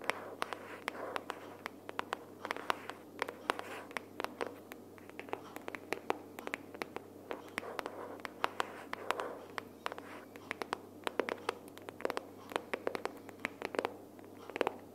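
Long nails tap and scratch the front cover of a closed pink cardboard sticky-notes box held upright. Quick, dry, quiet clicks ring out in a steady rapid stream over a soft scratchy rustle, with no ring after each tap.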